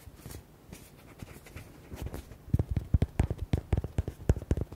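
Fingernails tap and scratch the front and side of a red, hollow rubber duck toy with white hearts. Soft, faint scratching gives way to a quick run of dull, low, hollow taps that stop dead with no ring.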